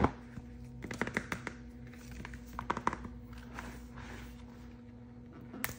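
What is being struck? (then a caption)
Plastic capsule egg wrapped in plastic film. A large hollow Disney Mystery Egg, a Mickey Mouse plastic capsule wrapped in printed plastic film, is held in both hands and turned while painted fingernails and fingertips tap and rub it. Quiet, scattered clicky taps and soft hollow thunks mix with faint crinkly rubbing of the film, over a steady low hum.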